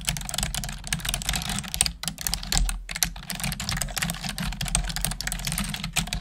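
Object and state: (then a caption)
Plastic computer keyboard. Long acrylic nails and fingertips type quickly on a black plastic desktop keyboard with hollow plastic keys. The result is a fast, continuous stream of sharp, bright clicks and clacks over a steady low hum.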